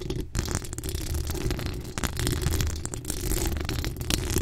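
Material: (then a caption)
Metal mesh. Long acrylic nail tips scratch across a hollow metal mesh microphone grille. The result is a dense, continuous scratching and crackling texture, heavy in low rumble around 86 Hz with a thin bright hiss on top and no pauses.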